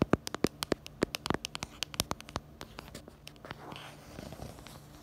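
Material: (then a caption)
Plastic. Long acrylic nails tap quickly and irregularly on the back of a pink plastic phone case held in the hands, and on its black camera bumper. The result is a run of sharp, dry clicks with a bright edge. Toward the end the taps give way to softer scratching sounds.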